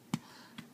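Two taps on a freshly baked spinach and red quinoa bread loaf, just out of the oven, each giving a short, dull, hollow thump centered around 220 Hz. The hollow sound shows the loaf is done, baked through as confirmed by a meat thermometer reaching 180 degrees.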